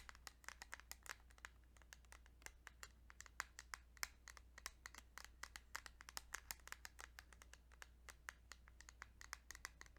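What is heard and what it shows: Fingertips tap rapidly and softly on a small plastic Kirby's Dream Land 2 Game Boy cartridge for about ten seconds. Each tap is a short, dry, bright click with no ring, over a steady low hum.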